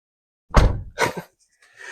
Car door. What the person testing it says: suara Tutup pintunya mirip kayak sebuah gak terasa mahal